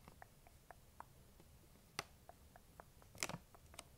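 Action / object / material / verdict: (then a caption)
scrape / plastic candy bag / plastic / none. Long nails scratch and crinkle the front of a large printed plastic M&M's candy bag that appears full. Soft, scattered ticks and crinkles run through the quiet clip, with three louder, bright crackling bursts standing out near the end.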